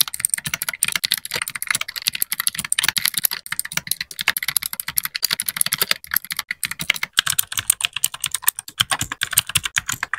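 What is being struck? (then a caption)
Mechanical keyboard with plastic keycaps. A small white 60% mechanical keyboard with plastic keycaps is typed on with the fingertips of both hands in continuous keypresses. Rapid, dense clicky taps sound bright and crisp, each dying away almost instantly with very little low end. The typing runs without pause across the clip.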